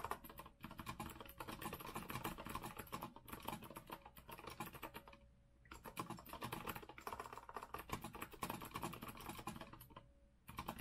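Both hands type fast with their fingertips on a rose-gold retro Azio mechanical keyboard with a metal frame and round plastic keycaps. The result is a dense, steady stream of clicky keystrokes, broken by brief pauses around five seconds and again near ten seconds, when a faint steady tone can be heard underneath.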